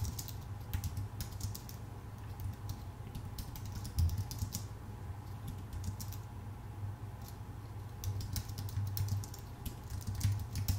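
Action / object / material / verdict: tap / computer keyboard with plastic keys on an aluminum body / plastic, aluminum / none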